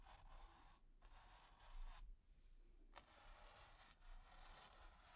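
A stiff bristle brush tip is scratched back and forth across a flat, taut, finely textured grey primed canvas. The result is a quiet, dry, hissy scratching that comes in bursts of strokes separated by brief pauses, over a faint low rumble.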